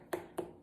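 A watermelon is thumped three times, giving short, dull knocks with a low resonant tone around 360 Hz that dies away quickly after each hit. This is the familiar thump test for judging a melon, where a more hollow sound is supposed to mean a juicier fruit.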